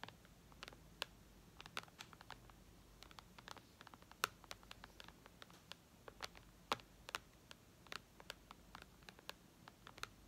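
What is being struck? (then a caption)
Tablet glass touchscreen. Long red nails tap on the glass touchscreen of a white iPad lying flat, in quiet, irregular, sharp clicks. Each tap is a bright, dry tick that dies away almost at once over a low background hum.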